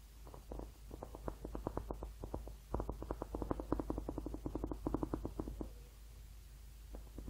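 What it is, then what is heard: Rubber hot water bottle. Painted fingernails tap and scratch the ribbed surface of a hollow blue rubber hot water bottle held in both hands close to the mic. Quick, irregular bursts of soft, dull taps with a hollow, low-mid body are heard, with brief scratchy textures between them and almost no bright content. The sound pauses near the end before a couple of final taps.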